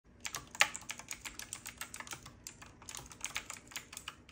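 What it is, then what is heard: Mechanical keyboard with round typewriter-style keycaps. Both hands type continuously with their fingertips on a full-size retro typewriter-style mechanical keyboard with round black plastic keycaps, a metal-looking frame and a side knob, lit from below. About 23 quick, bright clacks come in a steady run, each dying away almost at once with very little low end. One louder keystroke stands out near the start.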